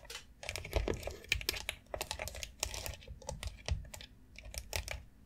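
Long acrylic nails tap fast across the rounded plastic nubs of a long white foot massage board made of hollow molded plastic. The result is a rapid, uneven patter of short, dry, bright clicks, each with a soft hollow thump beneath it and almost no ring.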